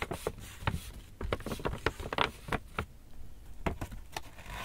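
An empty black Lush paper shopping bag with rope handles is lifted by its handles, shaken and crinkled by hand while fingers rub the paper. The result is a quick series of sharp, dry crackles and rustles with brief bright bursts over a low, soft rumble of handling.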